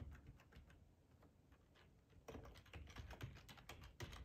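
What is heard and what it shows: Fingertips of both hands type on a black plastic, full-size ergonomic split keyboard resting on a cloth tablecloth. Soft, muffled key clicks with a low, dull body start quietly, then turn into louder, denser, irregular clatter after about two seconds.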